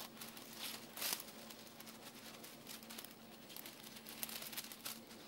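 A handful of uncooked dry spaghetti is held in both hands and rubbed, rolled and squeezed so the strands rattle against each other. The result is a quiet, bright, crinkly clatter of many short clicks, with a louder burst near one second and a faint steady low hum underneath.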